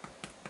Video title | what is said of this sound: Abby Makes No Knead Bread | it almost sounds kind of hollow which is a good thing that means there's lots of air bubbles on the inside